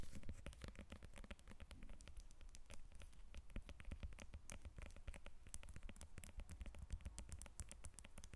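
Long nails tap rapidly on the peel of a whole lemon resting on a glass table. The result is a quiet, continuous patter of short, dry clicks over a low, soft thump.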